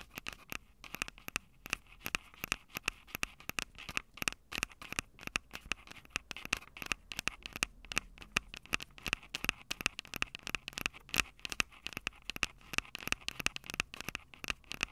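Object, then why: Handheld audio recorder with metal-grilled microphone capsules, scratched by fingernails. Long acrylic nails scratch and tap rapidly over the metal-grilled microphone capsules of a small, hollow, plastic-bodied Tascam DR-05 handheld recorder. The result is a dense, steady stream of short, dry, bright scratches and ticks, with a ringing tone around 2.6 kHz and almost no low end.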